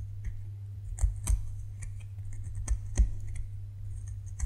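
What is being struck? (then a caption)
Bar of soap. Fingernails scrape and scratch a solid white bar of soap, leaving crumbs on the table. Soft, dry scratching runs throughout, with a few sharper, brighter clicks standing out. A steady low hum sits underneath.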